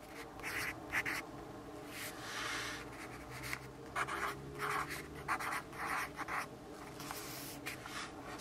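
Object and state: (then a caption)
Pencil writing on a paper notepad. A yellow wooden graphite pencil scratches across a lined paper notepad on a wooden desk, the pad held flat by one hand while the other writes continuously. The writing gives a steady, bright, dry scratching with short louder bursts as strokes press harder, over a quiet low background hum.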